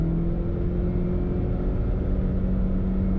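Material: Nothing is struck.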